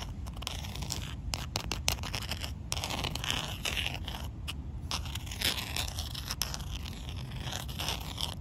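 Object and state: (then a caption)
Concrete ground. The black rounded end of a handle, likely a makeup brush handle, taps and scrapes across a large, solid slab of rough outdoor concrete. Quick, gritty taps and scratchy scrapes come in a fast, nearly steady stream with bright crunchy texture over a low rumble. Each tap dies away almost instantly with no ring.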